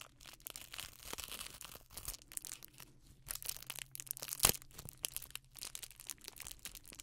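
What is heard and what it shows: Black nitrile-gloved fingertips crumple, squeeze and crinkle a small hand-held package wrapped in crinkly silver foil or plastic with a strip of neon yellow tape, its hollow, soft wrapping rustling. Dense, bright crackling comes in rapid bursts, with a sharper, louder crunch near the middle, over a faint steady low hum.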